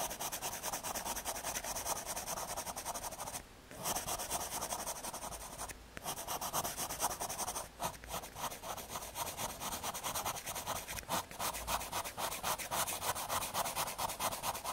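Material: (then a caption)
Fiberboard. A graphite pencil rubs broad shading strokes across the surface of a small square of thin, solid brown MDF fiberboard. The result is a steady, dry scratching hiss with rhythmic back-and-forth strokes and a bright edge. It is broken by brief pauses around 3.5, 6, 7.7 and 11 seconds.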